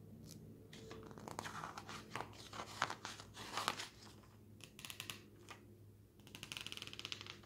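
Fingertips lift and flip a single page of an open glossy paper magazine showing a travel photo spread. Quiet, crisp rustling and crinkling bursts come in irregular waves, with bright papery snaps at the peaks. A faint steady low hum sits underneath throughout.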